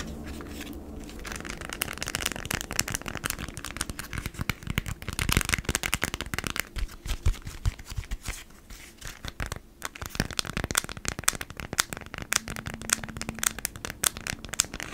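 A folded beeswax-coated cotton food wrap, held upright and flat, is scratched and tapped with long nails. Dense crackling, crinkly scratches and sharp, dry taps run throughout, with bright, papery texture over a low rumble and no ringing after each contact.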